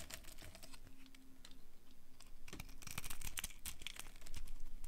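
A hand-sized bar of dry pink-red striped soap, held in the palm, is carved and scraped with a small metal knife blade that shaves off thin crumbly slices. The result is a quick, uneven run of crisp, dry cutting strokes with bright crackly scraping, growing louder and denser toward the end.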